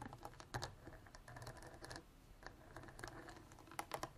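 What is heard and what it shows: Long artificial nails tap and scratch the ridged sides and orange cap of a clear ridged plastic water bottle about a quarter full of water. Quiet, irregular bursts of quick dry clicks mix with soft scratchy rasping, with a few sharper, brighter taps standing out. Each tap dies away almost at once.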